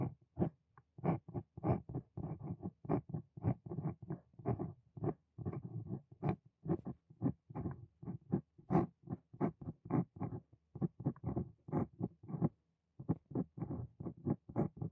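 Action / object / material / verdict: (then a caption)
scrape / steel dip pen nib on paper sheet / paper / none. A steel dip pen nib on a wooden holder scratches across a white sheet of paper while writing. The result is a steady run of short, dry scratchy strokes, each low-weighted with faint bright edges and almost no ring. A brief pause comes near the end before the strokes resume.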